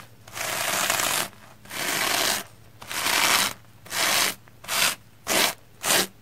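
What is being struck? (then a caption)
Soapy plastic foam sponge. A round black-bristle hair brush with a wooden handle is stroked across a soapy, red, porous plastic foam sponge block. Seven bright, hissy scrubbing strokes sound, with the first ones long and sustained and the later ones growing shorter and quicker. Quiet gaps separate each stroke.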